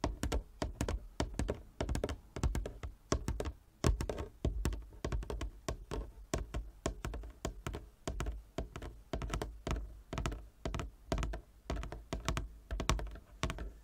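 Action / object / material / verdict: tap / wooden chess board / wood / none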